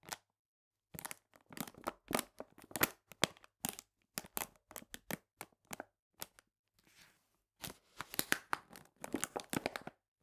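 A full paper cane sugar bag lying on its side is pressed and crinkled at the ends with fingers and nails. Quick, quiet bursts of dry, crisp crackling and crinkling come in irregular clusters with short silences between them, bright and papery with almost no low end. A softer, hissy rustle sits in the middle before the crinkling returns denser toward the end.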